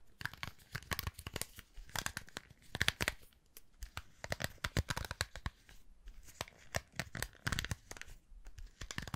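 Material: Plastic.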